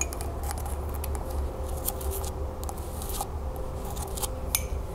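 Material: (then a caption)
Glazed ceramic. A hollow, empty green glazed celadon ceramic mug, held tilted, is tapped and scratched on its glazed body with long nails. Quick bright clicks and light scratches sound over a steady low hum. Some clicks leave short, faint ringing tones.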